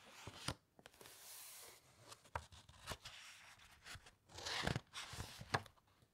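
Long nails scratch and rub across a thick, uncoated page of an open hardcover encyclopaedia, then turn it. Soft, papery hiss and sharp little scratches and taps give way to a louder, crisp rustle and flap as the page turns over, followed by a few more light scrapes.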